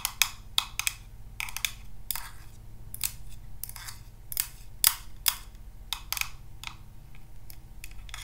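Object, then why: Small hollow acrylic plastic cube box. A small, hollow, translucent orange acrylic cube box, held in the hands, is tapped and scratched with paper clip nails. About twenty sharp, bright clicks ring out at uneven intervals, each dying away almost instantly. Soft scratchy rustles fill the gaps over a steady low hum.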